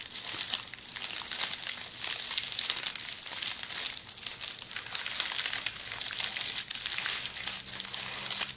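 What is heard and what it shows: Long polished fingernails scratch and squeeze an upright roll of red plastic bubble wrap. The result is a steady, dense crinkling and crackling that is bright and high, with almost no low end. It swells and eases in waves throughout.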